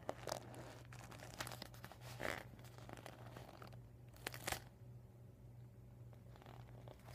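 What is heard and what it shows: Fingers squeeze and crinkle a rolled, deflated vinyl beach ball with marker writing on it while nails scratch the plastic. Quiet, dry crinkling and scratching is punctuated by brief, bright crackles, over a steady low hum.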